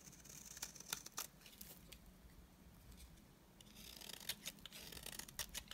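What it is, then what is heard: Dry bar of soap being shaved. A utility knife blade shaves the edge of a solid, dry white bar of soap, producing bright, crisp scraping and crackling clicks. The clicks come in a busy burst at the start, ease into a quieter soft rasp, then return in a denser flurry of sharp snaps toward the end.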